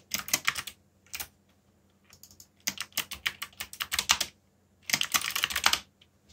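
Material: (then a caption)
Plastic. Fingertips type fast on a backlit black plastic mechanical keyboard, producing bursts of sharp, bright clicking keystrokes. The clicks come in quick clusters separated by short pauses, each dying away almost instantly, over a faint low hum.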